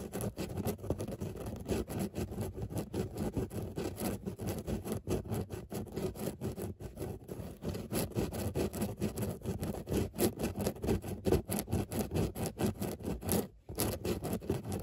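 Long nails scratch across a grey, padded fabric car seat with a textured surface of raised circular dots. The result is a dense, continuous run of quick, rough scratching strokes, mostly low and muffled with little brightness. The scratching stays fairly steady and dips briefly near the end before resuming.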